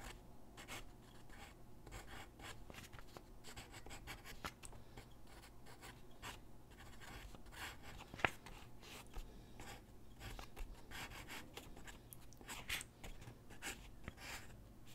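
A graphite pencil held in the hand scratches across a large white drawing paper sheet lying flat on a wooden desk while sketching figure drawings. Quiet, bright scratchy strokes come in quick, uneven bursts over a steady low hum, with one sharper tick partway through.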